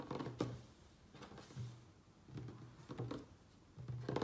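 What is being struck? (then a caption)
Wooden tabletop. Fingertips and nails of both hands quickly tap and scratch a light, solid wooden tabletop. Soft, low knocks come in short clustered bursts, each topped with brief bright nail clicks and scratches. Every burst fades fast into quiet.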